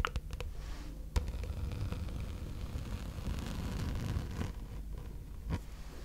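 A gold glitter plastic placemat, a thin sheet curled into a hollow tube, is scratched with long red nails. Steady dry scraping and rustling carry a low, hollow body, broken by a few sharper clicks and taps.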